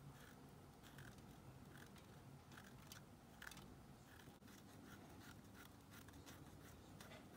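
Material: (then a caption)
Soap. A thin pink stick scrapes along the edge of a solid white, palm-sized Dial bar soap held in a blue-gloved hand while the bar is rotated. The result is quiet, repeated dry scraping strokes with bright, crisp bursts over a low, steady rumble, with one sharper scrape near the middle.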